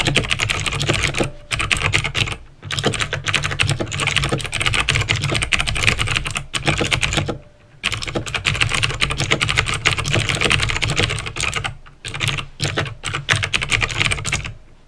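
Fingertips with painted nails type on a backlit plastic mechanical keyboard with clicky green switches, making a rapid, continuous stream of sharp, bright clicks with a low thock under each keystroke. The typing runs in bursts with brief pauses between them, and each click dies away almost instantly.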